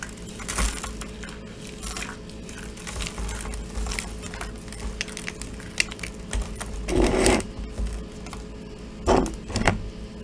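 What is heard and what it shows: A small, brittle block of dried soap coated in silver glitter is squeezed, crushed and rubbed by bare fingers and palm until it crumbles into flakes on a table. Soft, dry crackling and crinkling runs over a steady low hum, with a few louder, brighter crunching bursts near the end.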